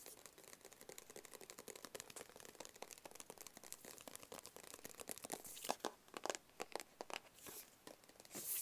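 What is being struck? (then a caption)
Small closed cardboard box. Fingertips tap a small, hollow, closed black cardboard gift box held in the hands. The result is a fast, dense stream of soft, dry, papery taps with a slight crinkly texture and a hollow midrange knock. The taps grow louder and more spaced out toward the end.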